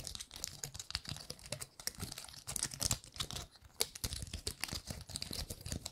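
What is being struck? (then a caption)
Painted pine cone scales. Long nails scratch and flick the scales of a gold-painted pine cone, heard close-up. A dense run of quick, dry crinkly clicks and scrapes with bright, hissy highs and a soft low thump under some strokes. No sound rings on after a stroke.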